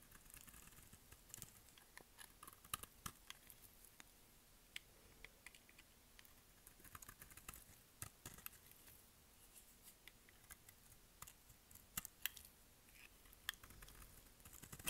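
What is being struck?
Bar of soap shaved with a blade.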